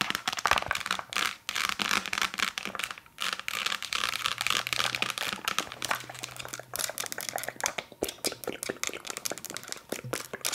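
Long nails rapidly tap and scratch a hollow, translucent plastic nasal rinse squeeze bottle with a blue nozzle. The result is a dense stream of crisp, bright clicks and scratchy crinkling, mostly high-pitched, with almost no low end and no ringing after each hit.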